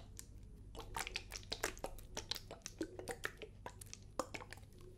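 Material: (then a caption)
Plastic. A medium clear plastic bottle of micellar water with a Garnier-style label and a white cap, hollow and partly filled with liquid, is held in one hand, turned and tilted while long nails tap and scratch it. Quick, bright clicks and crisp scratches come in an irregular stream over a faint low hum.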